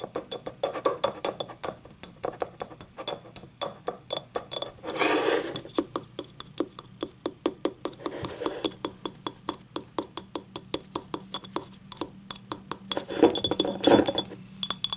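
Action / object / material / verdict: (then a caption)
tap / small ceramic cup / ceramic / none. Long nails tap the outer wall and rim of a small, hollow, empty yellow ribbed ceramic cup, first held upright and then tilted. Dozens of quick, sharp clicking taps with a bright edge and a very short ring fall in an uneven rhythm, broken by a brief denser, noisier stretch about a third of the way in. A few louder taps come near the end.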